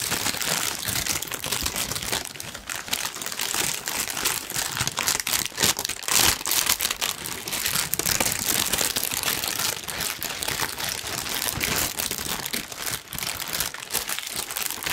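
A large, thin pink tissue paper sheet is crumpled with the fingertips for about 15 seconds. It makes a dense, continuous bright crinkling with fast crackles and almost no low end.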